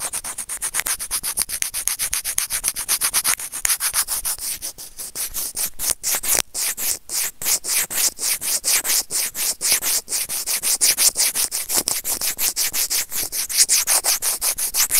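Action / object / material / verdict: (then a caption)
scrape / plastic earphone inline microphone remote rubbed with plastic tweezers / plastic / none. A small, hollow white plastic earphone inline microphone remote is clamped and rubbed by serrated plastic tweezers. The result is a dense run of rapid, bright scratchy strokes, closely and somewhat unevenly spaced, with almost no low end.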